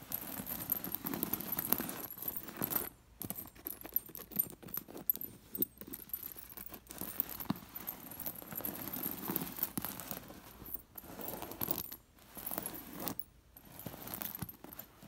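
A hand with long nails sweeps and scratches across a cushion covered in metal sequin discs, making the discs clink. A continuous stream of small metallic clicks and rustles rises and falls in loudness with brief pauses, carrying a faint bright shimmer.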